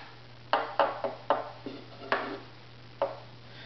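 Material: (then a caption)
Wood. Several short, dull wooden taps with a brief resonant ring are struck on the center of a strung violin's wooden top plate, between the small holes and the f-holes, over a steady low hum. The top was pre-tuned to 176 Hz, and its tap tone serves as the reference pitch for tuning the bridge.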